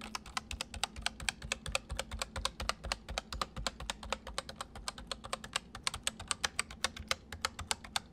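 Fingertips of both hands type fast on a white full-size plastic MSI mechanical keyboard with hollow keys, one arm briefly crossing over the other. It makes a rapid, steady stream of sharp, bright, hollow clicks that each stop almost instantly, over a faint low hum.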